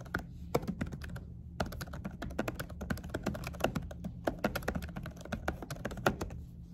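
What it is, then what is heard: Laptop keyboard with silicone cover, typed on. Both hands type quickly with fingertips and short nails on a laptop keyboard covered by a dark silicone keyboard cover. A rapid stream of short, muted, dull taps runs with brief pauses near the start and middle, over a steady low hum.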